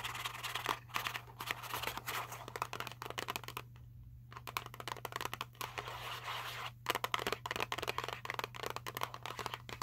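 A small Sour Patch Kids cardboard box, apparently full of candy, is held in the hands and scratched with fingernails, producing dense, rapid, dry scratching and crinkling taps with a bright papery edge. The scratching pauses briefly around the four-second mark and again near seven seconds, while a steady low hum runs underneath throughout.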